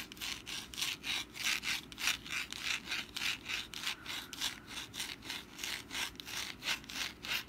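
Long black nails scratch the textured surface of a hand-sized, rust-brown papier-mâché pumpkin decoration held in the hand. The result is a steady series of dry, bright rasping strokes in an even back-and-forth rhythm, with almost no low end.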